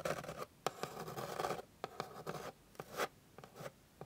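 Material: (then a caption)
Wood. Long pink nails scratch across the grain of a flat, light, solid wooden board. Irregular bursts of dry, raspy scratching mix with brief sharp ticks. The sound is mid-pitched with little low end and dies away almost instantly between strokes.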